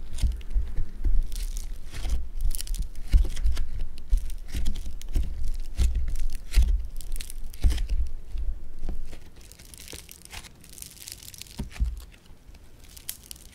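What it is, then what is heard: Foam bead clay (floam). A lump of blue foam bead clay (floam) is squeezed and stretched with both hands, giving a dense run of crackling, crunching pops with soft low thumps underneath. The crackle stays busy for about nine seconds, then drops to a quieter, sparser crackling until the end.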